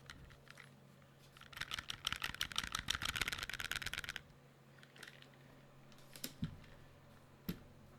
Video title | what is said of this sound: Koss KPH30i vs Sony ZX110 | the build quality itself on them i think because they have those moving parts it sounds cheap